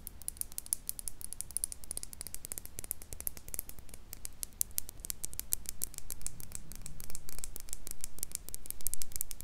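Long nails tap and scratch the sides and silver screw lid of a small, empty, hollow clear glass jar as it is rotated close to a microphone. The result is a rapid, irregular stream of crisp clicks and scratchy scrapes over a faint low rumble, growing slightly louder toward the end.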